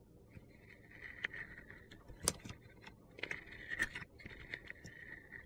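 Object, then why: Soap bar with a glitter layer, scraped by a metal blade. A metal utility knife blade scrapes the purple glitter layer off a hand-sized, solid orange soap bar held in a hand, peeling it away in strips. Gritty, crunchy scraping strokes carry a bright, whistling tone around 2 kHz, with sharp crackling clicks scattered between them over a quiet background.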